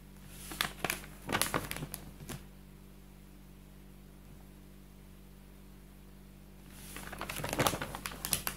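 Fingertips sweep across the pages of an open paper textbook with drawings of buildings, flipping and rubbing the paper. Dry, crinkly rustles and quick bright swishes come in bursts during the first two and a half seconds. A quiet stretch with only a faint steady hum follows, then another cluster of page flips and rubs builds toward the end.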